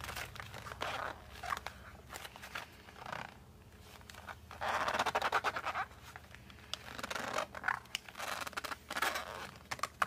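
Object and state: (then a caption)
Cardboard pencil case being scratched. The back side of a cardboard colored pencil case is held in both hands while thumbs and fingertips grip and scratch the cardboard. Bursts of dry, papery scratching and scraping come and go, with the busiest stretch around the middle and sharp little clicks scattered throughout.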